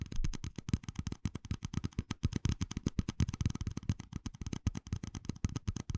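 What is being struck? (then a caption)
Small ribbed plastic cup. A small, hollow, empty red plastic cup with ribbed rings is held in one hand and tapped rapidly with fingertips and nails for about six seconds. The taps are quick, dull and low-heavy, with a faint clicky edge and almost no ring after each one.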